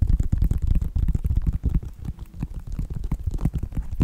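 Fingertips and nails tap on a white Nike sneaker with a synthetic leather upper and a purple foam sole, striking both the upper and the sole. The result is a rapid, uneven run of soft, dull taps, heavy in low thumping tones with almost no bright content and each tap dying away almost instantly.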